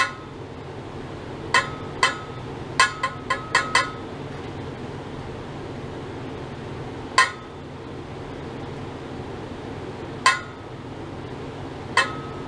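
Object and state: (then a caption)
Stainless steel pipe, struck. A long hollow stainless steel pipe, about 1 m, is held horizontally in mesh-wrapped clamps and tapped by a thin metal rod crossing it. Ten sharp clinking metallic strikes ring out, each with a short bright ring centered near 1 kHz. The strikes are spaced irregularly: quick clusters early on, then sparser taps over a steady low background hum.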